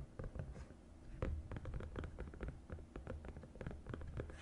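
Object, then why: Silicone placemat rubbed with fingertips and nails. Fingertips and long nails rub and trace along the raised compartment walls of a green silicone divided suction placemat. The sound is quiet, dull rubbing and scratching, with a steady run of short brushing strokes that rise and fall in a mostly low, muffled tone.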